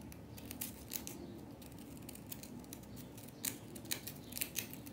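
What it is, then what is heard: Compressed powder bath bomb. Long nail tips scratch at a small leftover chunk of solid compressed powder bath bomb, with the hands covered in powder. Quiet, dry scratching runs over a low, steady rumble. Sharp, bright scraping bursts stand out, especially in the final second and a half.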